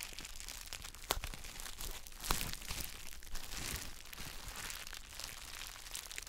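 A palm-sized gym chalk block wrapped in clear plastic bubble wrap is held in both hands while gloved fingertips press and rub the wrap. The result is a steady, dense crinkling and crunching with a bright, airy texture, punctuated by a few sharper crackles around the first and second seconds.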